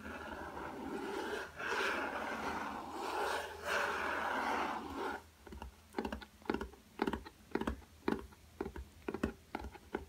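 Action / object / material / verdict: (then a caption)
tap / cardboard hardcover sketchbook / cardboard / none. Fingertips work the cardboard cover of a black hardcover spiral-bound sketchbook lying on a table, a solid stack of paper. About five seconds of continuous dry rubbing comes first, then a run of quick, dull taps with a short, muffled thud and almost no ring. A faint low hum sits underneath throughout.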